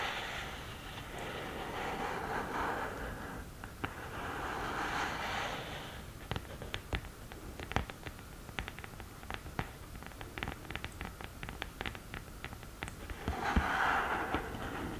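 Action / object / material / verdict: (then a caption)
tap / cardboard eyeshadow palette case tapped with long fingernails / cardboard / none. Long green-painted nails scratch and tap the upright cardboard lid of an open "Love Disco" eyeshadow palette, its powder pans below. Soft, rasping scrapes swell in waves at first, then give way to a run of sharp, dry, irregular taps. The clip ends with another brief burst of scratching.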